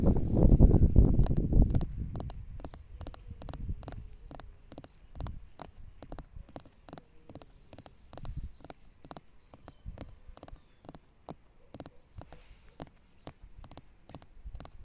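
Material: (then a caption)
Stone. Long nails tap and scratch the rough surface of a solid, weathered flat stone slab lying in grass. After a loud low rustling rumble in the first two seconds, a steady stream of short, dry, bright clicks follows at about three per second, each dying instantly over a soft low background.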